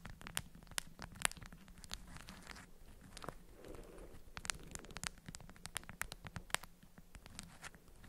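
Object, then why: Beeswax-coated cotton wrap bundle. An orange-print, beeswax-coated cotton food wrap bundle is cupped in both hands while long nails tap and scratch its waxed surface. Many quick, sharp taps and bright, crinkly scratches form an uneven patter over a faint low hum.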